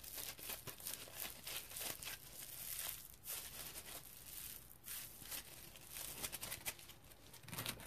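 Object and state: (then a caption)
Foam scrub sponge scratched with fingernails. Fingernails scratch the firm, textured foam of a dry yellow polymer foam scrub sponge with a smiley face, lying on a towel and held in the hand. Quiet, close, continuous bright scratching and crinkling rasps come in uneven bursts, with a faint low rumble beneath.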